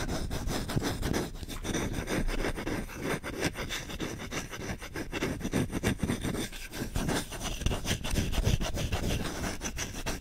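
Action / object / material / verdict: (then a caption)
scrape / wooden spoon / wood / none. A solid wooden spoon is scratched with short fingertips along the back of its bowl and its handle. The result is a continuous, fast, rough scraping with dense rapid strokes and low, woody body.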